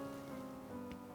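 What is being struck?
Nothing is struck.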